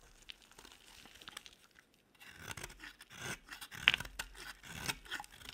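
A metal utility-knife blade scrapes and shaves an oval, palm-sized, solid pink bar of dry soap into curled flakes. Soft, bright scraping and crisp shaving strokes rasp in quiet bursts, with a brief silent pause before the strokes grow louder and denser.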